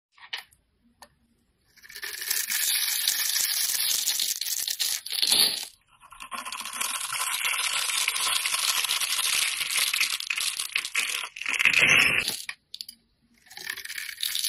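A hand-sized, solid rectangular bar of pink, green and purple soap is held in one hand while a box-cutter blade scores and shaves its grid-scored surface. Long stretches of bright, dry, crackling scraping and cutting are separated by short quiet pauses, with louder, sharper shaving bursts in between.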